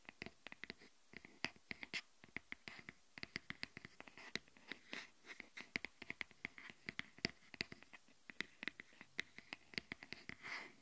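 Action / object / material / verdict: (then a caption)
tap / silicone phone case / silicone / none. Long nails rapidly tap and scratch the inside of an empty green silicone phone case lying open side up on a wooden table; the case is thin, flexible and hollow. About 55 quick, dry, bright clicks follow one another with almost no ring, with soft scratchy rustling between them and a longer scratch near the end.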